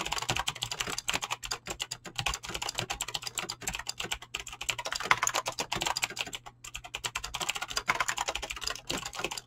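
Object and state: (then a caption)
Mechanical keyboard with PBT keycaps. Fingertips fast-type on a mechanical keyboard with clicky green switches and PBT plastic keycaps, producing a rapid, continuous stream of sharp, bright clicks. Each keystroke is short and crisp with almost no ring, and the typing briefly thins out near the middle before resuming at full pace.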